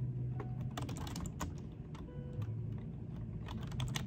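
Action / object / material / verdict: tap / plastic computer keyboard / plastic / none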